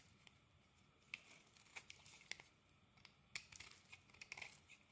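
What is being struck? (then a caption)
Bar of soap cut with a metal blade. A metal blade carves chunks from a solid soap bar, green inside with a yellow crust, held in the hand. Quiet, bright, crisp scraping and crackling come in short bursts with sharp snapping cuts, over a soft hiss.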